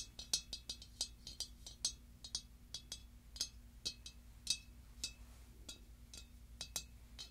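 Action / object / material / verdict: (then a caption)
tap / glazed ceramic pumpkin ornament / glazed ceramic / none. Long dark nails tap and scratch the glossy ribbed body of a large, hollow, pink pearlescent glazed ceramic pumpkin with a gold stem. About two dozen quick, bright clicks with a high ring die away almost at once, with faint scratching between them. A low, steady hum runs underneath throughout.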